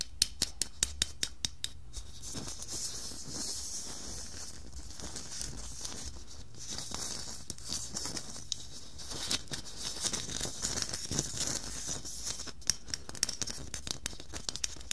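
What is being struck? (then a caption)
Glitter-coated Christmas bauble. Long nails scratch and tap with both hands over the textured glitter surface of a hollow red glitter plastic Christmas bauble with a glitter net pattern. Short, sharp clicking taps come in clusters, especially near the start and end, over a continuous bright, hissy scratching with a low steady hum underneath.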